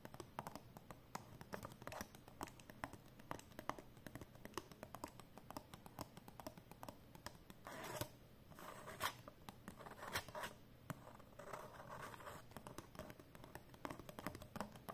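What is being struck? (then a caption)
Folded paper banknote. Long painted nails rapidly tap and scratch the surface of a folded 20 euro banknote made of cotton paper, held flat. The result is a quiet, dense stream of short, dry crackles and papery scrapes, with a few louder rustling swells along the way.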